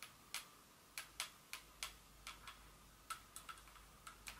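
A small Dior glass perfume bottle with a metal collar and cap area is tapped rapidly with long fingernails. Thirteen sharp, bright clicks arrive at an uneven pace, each fading almost instantly, over a faint steady tone near 1.2 kHz.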